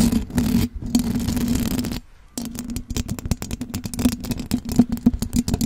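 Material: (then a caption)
Metal mesh. Long blue acrylic nails scratch the silver perforated metal mesh grille of a large condenser microphone with a hollow head. A dense, continuous rasping scrape runs for about two seconds, then a brief near-silence. Quick, crackly ticking scratches follow over a steady low hum.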